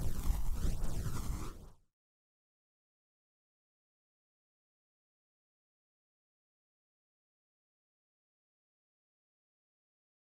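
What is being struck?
Nothing is struck.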